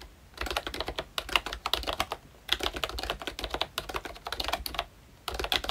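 Fingertips of both hands type continuously on a full-size ROYCHE Disney Mickey Mouse themed retro membrane keyboard with round plastic keycaps. Rapid, bright plastic clicks come in bursts with short pauses between them. Each keystroke is short and dry, with little low-end thump.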